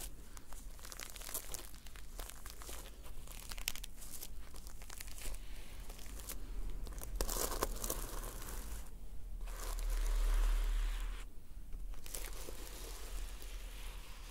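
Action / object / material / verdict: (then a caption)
scrape / notebook with a sequin cover / plastic sequins / none. Long nails scratch and flip the red and silver reversible sequins on the solid cover of a closed notebook. A dense, steady stream of crisp, bright crinkling and rustling follows, with a brief louder swell near the end.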